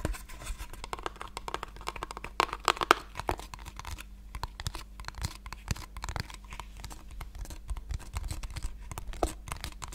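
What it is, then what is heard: Small cardboard box tapped with fingernails. A small hollow pink cardboard box, held in both hands, is tapped and scratched with long painted nails. Dense, quick dry clicks and scrapes patter across the clip, with a few brighter, louder taps near the start and a steady low hum underneath.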